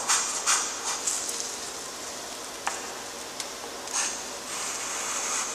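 A graphite stick held in a gloved hand scratches the strokes of a new letter after j onto a flat, lined, gray-toned drawing paper sheet. Six bright, dry scratching strokes rise out of a steady high hiss, followed by a longer, softer drag near the end.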